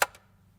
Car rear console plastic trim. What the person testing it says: this plastic sounds like plastic